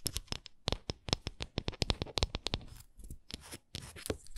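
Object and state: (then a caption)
Textured wooden ornament. Long nails tap and scratch a textured wooden ornament, producing a quick run of sharp, dry clicks with bright high edges and brief low thumps. Toward the end, the taps give way to softer, rasping scratches across the surface.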